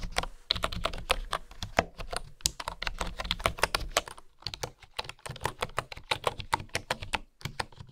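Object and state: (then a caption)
Bamboo keyboard. Fingertips type steadily on a bamboo keyboard with flat wooden keys, making a rapid, uneven run of short, dry, bright clicks and taps with brief pauses. A faint low hum sits beneath the clicks throughout.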